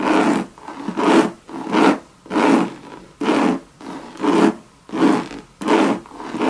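Long red nails scratch and rub across a hollow Louis Vuitton Monogram coated canvas and leather bucket bag. Repeated raspy, brushing strokes come in an uneven rhythm of about 80 per minute, each a dry scrape centered in the low mids with a bright hiss on top. Every stroke stops dead with no ring.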